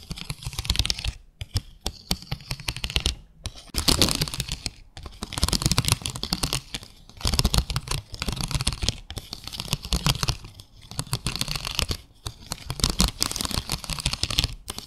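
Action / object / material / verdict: scrape / ridged clear plastic plate / plastic / none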